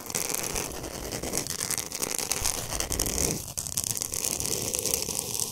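Long pointed nails scratch fast and hard across the surface of a large, flat, solid pink Himalayan salt block. The result is a dense, continuous, bright, gritty rasping that stays steady throughout, with only a brief dip just past the midpoint before the scratching resumes.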